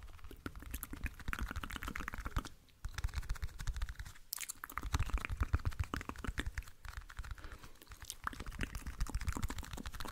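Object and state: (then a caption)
Clear plastic toothpick case. Fingernails tap and scratch a small, hollow, clear plastic toothpick case, making a dense, continuous run of quick, dry clicks and scrapes with a low thump under bright ticking. The sound pauses briefly at about 2.7 seconds and again just after 4 seconds, then goes on at a steady pace to the end.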